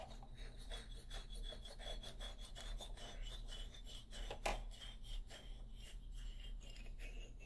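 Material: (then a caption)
Hardwood. Fingernails scratch repeatedly across the solid hardwood bars of a xylophone held upright close to the recorder. The result is a series of dry, raspy rubbing strokes over a steady low hum, with one sharper, louder scrape near the middle.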